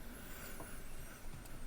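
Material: Nothing is struck.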